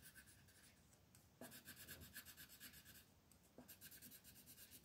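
A teal colored pencil scratches and rubs across a flat paper mandala coloring page resting on a table. Quick back-and-forth strokes, about four per second, make a dry, bright rasping hiss with a faint whistling tone near 1.7 kHz. The strokes swell louder in two bursts, then ease back to a softer scratching.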